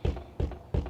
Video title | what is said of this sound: Demo - Watch What This Freaked Out Squatter Does. | when they sound like that, you hear that? So, that is a hurricane window.